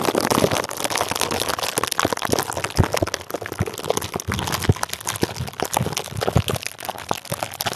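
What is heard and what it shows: A clear plastic bubble wrap sleeve wrapped around the top of a microphone is squeezed and scrunched with the fingertips of both hands. The result is a dense, continuous crinkling and crackling, broken by many sharp, short pops and snaps with a low thump beneath.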